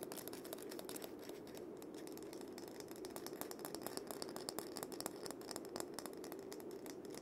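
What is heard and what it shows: A single cabasa, a wooden cylinder with a wooden handle wrapped in loops of steel bead chain, is gripped by hand while the beads are rubbed and rotated. It makes a steady, dense, ratcheting metallic rattle of quick, short clicks over a soft hiss, centered around 355 Hz with bright, crisp edges, for about seven seconds.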